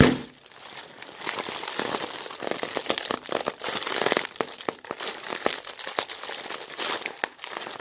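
An empty, thin, translucent white plastic bag is crumpled and crinkled by both hands with red-nailed fingertips. A steady stream of bright, papery crinkles is broken by sharp crackles, with little low end and no ring after each snap.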